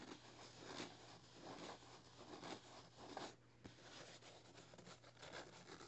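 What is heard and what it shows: Both hands rub and scratch the thin paper pages of an open paperback novel lying flat, working near the spine with fingertips and nails. The result is soft, dry rustling and scratchy swishes that swell and fade in irregular bursts, over a faint steady low hum.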